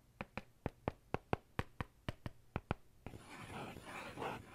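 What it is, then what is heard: Faux-leather notebook cover tapped with a pen. The metal tip of a ballpoint pen taps on a dark faux-leather notebook cover: thirteen short, crisp, evenly spaced clicks. It then scratches across the surface in a continuous, brighter rasping rub that swells toward the end.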